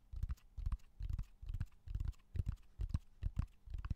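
Fingertips and nails tap along the rough, textured surface of a large, flat, solid slab of raw cork oak bark held in both hands. They produce quick clusters of soft, dull, low thuds at an uneven pace. Each tap dies away almost instantly, with only faint brighter ticks above the deep knocks.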